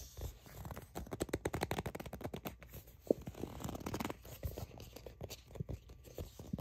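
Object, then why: Plastic sunscreen tube. A plastic sunscreen tube is turned in the hands while long acrylic nails grip, tap and scratch its printed surface. Quick, soft, dry taps and scratchy rubs come in a dense, uneven stream, heavy in the low end, with one sharper tap standing out near the middle.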